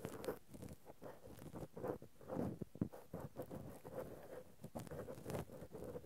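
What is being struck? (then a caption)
Cotton swabs on a metal mesh microphone grille. Two cotton swabs, one in each hand, scratch and rub directly on the metal mesh grilles of a Zoom handheld recorder's X/Y microphone capsules. The result is a close, muffled stream of scratchy rustling and soft crackling bursts, heavy in the low-mids, with several sharper scrapes standing out.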